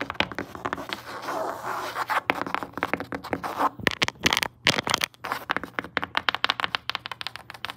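Long acrylic nails with metal charms tap and scratch rapidly on grey woven fabric upholstery stretched over a flat padded surface. The result is a dense run of quick, dry scratching and tapping bursts with bright, papery texture, separated by brief pauses.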